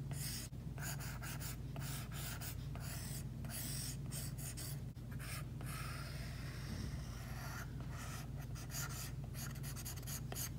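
An Apple Pencil tip is drawn across an iPad glass screen fitted with a matte screen protector in short strokes. Each stroke makes a dry, bright scratching hiss, separated by brief gaps. A steady low hum runs underneath the whole time.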